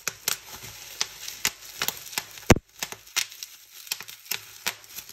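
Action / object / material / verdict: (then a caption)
tap / plastic bubble wrap sheet / plastic / none. Fingertips and nails pinch and pop the small air bubbles of a clear plastic bubble wrap sheet resting on a white table. About eighteen short, sharp, bright pops sound at irregular intervals, with a loud one near the middle, over soft plastic crinkling and a faint steady high tone.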